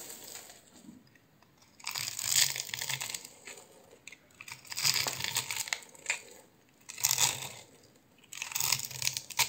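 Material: Soap.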